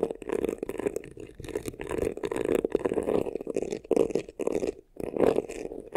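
Fingernails scratch quickly across the textured front and sides of a hollow black crocodile-embossed faux leather vanity case. The result is a dense, continuous rasping with a hollow, mid-toned resonance, coming in surging bursts with a brief pause near the end.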